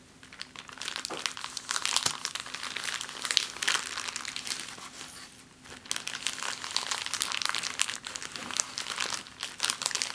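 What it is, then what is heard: Crumpled clear plastic bag. An empty, thin, clear plastic bag lying flat on a table is crumpled and scrunched with fingers and long nails. It makes dense, bright, continuous crinkling and crackling that briefly eases around the middle before building again. A faint steady low tone sits underneath.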